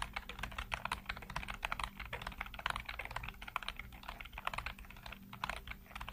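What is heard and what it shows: Fingertips rapidly tap and type on a full-size black plastic computer keyboard with hollow keycaps. The result is a fast, continuous stream of short, dry, clacky key clicks with bright edges and no ring, over a faint steady low hum.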